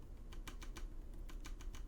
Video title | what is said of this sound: 2021 HP Envy x360 15 // Unboxing | a little bit of uh rattle there but i'm tapping pretty hard on it